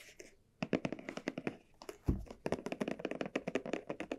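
Long nails tap and scratch a small red croc-embossed leather barrel bag with dark straps as the bag is held and turned. A quick, uneven run of crisp, short taps on the leather is interspersed with faint scratching, plus one deeper thump partway through.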